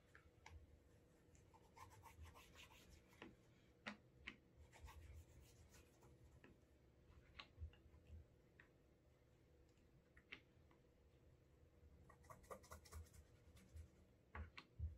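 A cotton cloth rubs the toe, side and heel of a brown leather Alden Straight Tip Blucher dress shoe held in hand, creating a wax burnish. The result is quiet, soft rubbing over a steady low hum, with scattered bright ticks and scratchy flicks throughout.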